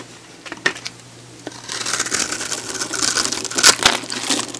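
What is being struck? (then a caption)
Bar of soap cut with a metal blade. A hand-sized solid pink oval bar of soap, held in the hand and scored with a grid of cuts, is shaved with a metal box-cutter blade, and crumbly pieces break off. A few sharp, separate clicks give way to a continuous bright, crisp scraping and crunching, with sharper cracks near the end.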